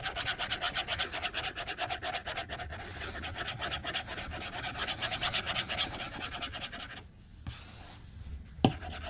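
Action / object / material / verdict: scrape / glass tablet screen stroked with a plastic stylus / glass / none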